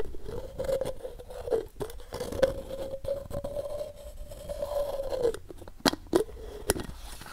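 Fingertips scrape and scratch along the side of a hollow, medium white plastic pill or supplement bottle with a printed paper label, held in one hand. A continuous dry, scratchy rasp carries a hollow, humming resonance around 530 Hz. Near the end it breaks into a few sharp, bright clicks.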